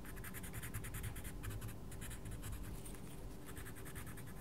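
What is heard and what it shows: A wooden coloured pencil rubs and scratches steadily across a mandala page in a small paperback colouring book while the other hand holds the page flat. Quiet, continuous papery scratching comes in rhythmic back-and-forth strokes with bright, hissy bursts over a low, soft rumble.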